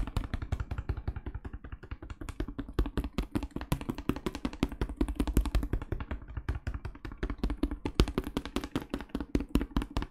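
A medium plastic cleaning-product bottle with a white cap and label, filled with brownish liquid, is rapidly tapped by fingertips in pink rubber gloves. It produces a fast, uneven stream of short, dull, low-pitched taps with a hollow plastic knock and almost no ring.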